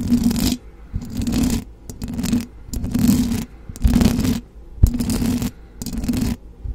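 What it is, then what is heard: Metal mesh microphone grille being scratched. Long blue acrylic nails of both hands scratch up and down on the hollow metal mesh grille of a silver condenser microphone. Repeated rasping strokes come about once a second, with short quiet gaps between them. The scratches sound dense, heavy in the lows and muffled, with little bright edge.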